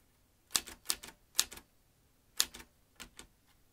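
Fingertips press the keys of a metal manual typewriter, producing five sharp, bright clacks at an uneven pace. Each clack has quick rattling echoes behind it, and each dies out almost instantly. The clacks are crisp and high-pitched, with almost no low end.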